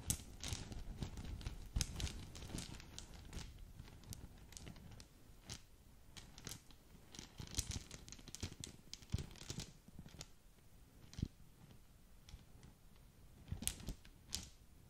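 Long nails scratch and rub a small green polka-dot satin gift bag with a bow, crinkling the fabric. Soft, continuous rustling and crinkling is broken by sharp, bright scratchy ticks with a muffled low rumble underneath, and the sounds fade quickly without ringing.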